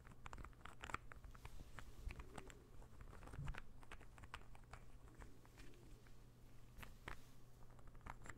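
A small, solid, assembled light-wood interlocking ball puzzle is held in one hand, tapped and scratched with fingernails, and brought toward the mic. Quick, dry, quiet clicks and soft scratching patter come in an irregular stream over a steady low hum.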